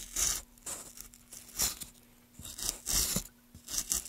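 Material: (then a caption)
Wood. A small gouge held in gloved hands carves a solid pale wood block, lifting long shavings from its surface. Bright, hissy scraping strokes come in irregular bursts, each with a dry crunchy edge, separated by quiet gaps and a faint steady low hum underneath.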